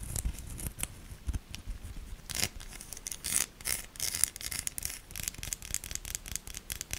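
A solid pink bar of soap with an embossed logo and ribbed sides is held in hand and scratched and scraped with long nails. The result is a dense run of crisp, bright scratching strokes. The strokes come in short bursts over a soft low rumble and are louder and brighter in the middle of the clip.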